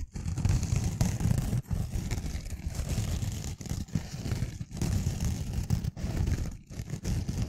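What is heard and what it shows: Long nails scratch the green abrasive side of a rectangular kitchen sponge made of pink foam with a green rough scouring layer, held in one hand. The result is a steady, rough, low-heavy scratching with a dry, gritty texture, broken by brief pauses between strokes.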